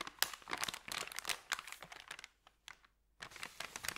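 A thin, empty, creased white paper sandwich bag is rubbed with fingertips, and then its end is rolled up. This makes a bright, dry crinkling of dense rustles and sharp crackles. The sound pauses briefly near the middle and then picks up again.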